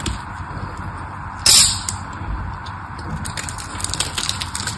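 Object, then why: Bar soap. A solid pink patterned bar of dry soap is cut and scraped with a small black craft knife. A loud, bright crunching burst near the start fades into steady low hiss, and lighter scratchy scrapes and crackles come back toward the end.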